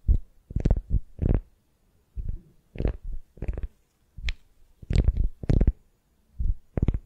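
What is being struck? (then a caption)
Beeswax-coated cotton wrap around a wooden sphere. A solid wooden sphere wrapped in beeswax-coated cotton wrap is scratched and gripped by long nails. This produces a series of short, dull, low crinkling and rubbing bursts separated by brief pauses, with almost no high-end brightness.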